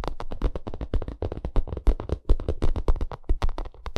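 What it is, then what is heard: Textured vinyl makeup bag. Long nails scratch and tap a white, bumpy, padded and hollow vinyl makeup bag, and fingertips squeeze it. The result is a rapid stream of short, dry taps and scratchy crackles with a dull, low, hollow thump beneath them.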